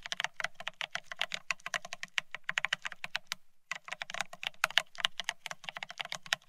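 Fingertips of both hands type fast on the plastic keycaps of a full-size beige split ergonomic keyboard. About 46 quick, bright plastic clicks rattle out with no ring, broken by a brief pause near the middle before the typing resumes.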